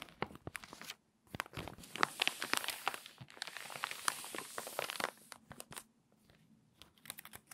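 Long manicured nails and fingertips rub and crease the pages of an open, water-damaged glossy paper magazine lying flat on a tablecloth, then turn a crinkly page. Light scratchy ticks give way to a dense, bright burst of crinkling and crackling paper in the middle, then taper back to sparse, quiet crackles and taps.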